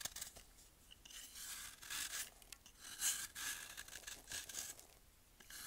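A small metal blade shaves the face of a palm-sized, solid block of pressed baking soda held over a glass bowl of baking soda powder, and the powder falls off. Quiet, bright, dry scraping and rasping strokes come in uneven bursts, mostly high with almost no low end, and each stroke fades quickly.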